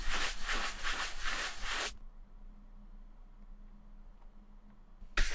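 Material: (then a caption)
Leather. A large wooden-backed horsehair brush sweeps back and forth over the smooth leather of an empty ankle boot held by hand, buffing it to a shine with bright, airy swishing strokes. The brushing stops after about two seconds, leaving a quiet stretch with a faint low hum. A short burst of brushing returns at the very end.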